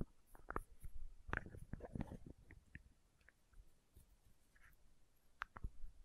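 A small, hollow plastic condiment shaker bottle with a red cap is held close to the microphone and scratched and tapped with long nails. Soft, dry, irregular taps and scratchy clicks come in quick clusters at a low level, with a muffled, bass-heavy body and almost no ring.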